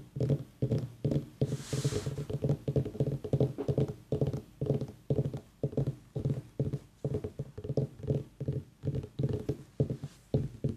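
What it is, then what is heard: Pumpkin tapped. A pumpkin is tapped repeatedly in a steady series of quick, dull, hollow knocks with a low resonant tone and almost no ring. One brief airy, brighter burst occurs near the two-second mark.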